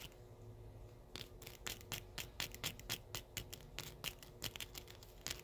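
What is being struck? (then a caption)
Steel wire paper clips. Several small, thin-wire steel paper clips slipped over the fingertips of both hands are held close and rubbed and clicked against each other, touching nothing else. After a quiet first second, a quick, irregular stream of bright, sharp metallic clicks and light scrapes follows, each tick dying away almost at once.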